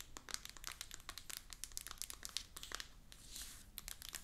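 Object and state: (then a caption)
Shrink-wrapped cardboard box. A small, rigid, full cardboard iPhone 14 Pro 256 box in plastic shrink-wrap lies flat and is rubbed and scratched with fingertips and long nails. Quiet, bright crinkling and rapid scratchy ticks of nails on the plastic come in uneven bursts, with a smoother, hissing rub near the end. Each sound is very dry and stops almost instantly.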